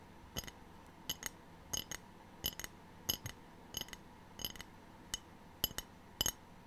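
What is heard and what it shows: A ceramic tray is tapped in short pairs, giving sixteen sharp, bright clinks with a glassy, high ring that dies away almost instantly. The taps are quiet and unevenly spaced against a soft background hiss.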